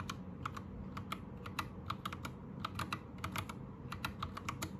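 Fast typing with the fingertips of both hands on a white 60% Anne Pro 2 mechanical keyboard with plastic keycaps. It makes a quick, irregular run of short, sharp plastic clacks with a bright edge, centered around 1.2 kHz. The clacks sit over a steady low rumble, and each one dies away almost instantly.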